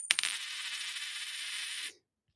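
A clad, non-silver dime, called unsound money, is dropped for comparison with a silver coin. Two sharp, bright clicks are followed by a thin, high-pitched rattle that lasts about two seconds before stopping. Next to the silver coin, it sounds flat.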